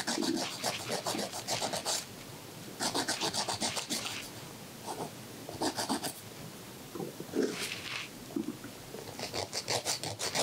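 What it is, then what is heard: Emery board filing fingernails. A thin, solid white emery board is rubbed back and forth in steady filing strokes against a man's fingernail, held in a woman's fingertips. Bursts of quick, bright, gritty rasping strokes alternate with short quiet pauses.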